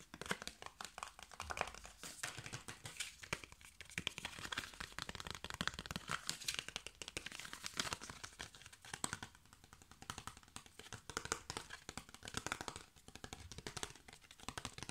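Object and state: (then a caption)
Cardboard box tapped and scratched. Fingernails and fingertips rapidly tap and scratch the flat sides of a small, hollow, hand-sized rectangular cardboard box with a plaid print. The result is a dense, continuous stream of crisp, bright clicks and papery scratches, each dying away almost instantly.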